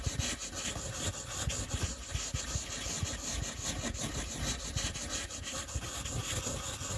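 A teal-blue wooden colored pencil, held in the fingertips, rubs and scratches its tip across a thin, flat white paper coloring page lying on a table. The result is a steady, dry scratching with a bright hiss, broken by short soft low taps as the strokes change direction.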